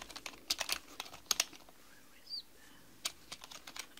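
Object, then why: Plastic mechanical computer keyboard. Long manicured nails and fingertips type rapidly on a black mechanical computer keyboard with plastic keys, producing about 15 crisp, bright clicking taps in quick bursts. A short pause in the middle carries only a faint, high gliding tone before the tapping resumes.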